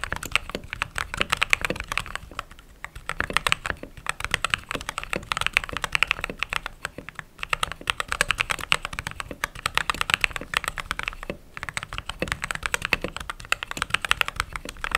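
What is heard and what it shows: Fingertips with long nails type steadily on a white/cream mechanical keyboard with plastic keycaps. The result is a dense stream of short, bright, clacky keystrokes with almost no ring, broken by brief pauses near 3, 7 and 11 seconds.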